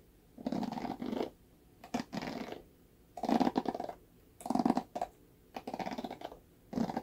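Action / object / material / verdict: scrape / plastic paddle hairbrush bristles / plastic / none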